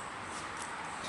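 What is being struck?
Nothing is struck.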